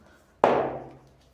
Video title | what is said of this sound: Bolo Toalha Felpuda - Curso Bolos Perfeitos - Curso Grátis Aula 03 | só de fazer assim você já percebe que tá solto